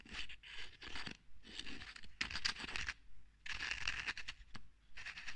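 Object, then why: Ridged metal screw cap on a bottle. A full bottle with green contents is held in one hand while the long red nails of the other hand repeatedly scratch and scrape its ridged metal screw cap. Bursts of bright, dry, crackly scratching alternate with short silent pauses. The sound is quiet and close, with no ringing after each stroke.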